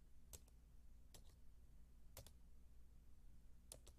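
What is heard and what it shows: A solid, white low-profile Apple keyboard, about 28 cm wide, with plastic keys on a thin aluminium base, is typed on with the fingertips and long dark-painted nails. Sparse pairs of quick, bright, crisp key clicks die away almost instantly, spaced about a second apart. A steady low hum sits beneath them throughout.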